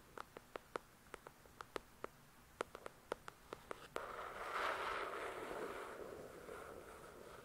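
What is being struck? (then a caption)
Paperback book cover. Long nails tap on the cover of a paperback copy of "The Shack," giving 17 short, sharp, dry clicks over the first four seconds. A continuous, louder scratching across the cover follows for the rest of the clip, a hissy rasp centred in the mids and fading slightly toward the end.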